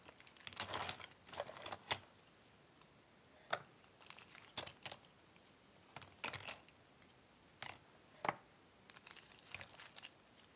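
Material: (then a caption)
Cardboard. Both hands sift through loose cardboard jigsaw puzzle pieces in a cardboard box, picking pieces up and rubbing them between the fingers. The result is quiet, dry, bright rustling and crinkling in short bursts, with sharp little clicks that die away instantly, separated by near-silent pauses.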